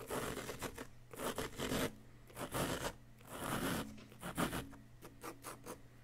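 A small wooden chisel held by the fingertips scrapes a solid yellow-green plaster dig-kit block. Bursts of dry, gritty scratching come in uneven strokes, with brief pauses between them.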